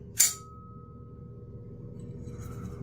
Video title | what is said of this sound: Blade Talk Daily ep. 355 (8am CST -06:00UTC) My first day off in a month straight - let's chill | it's got an awesome ting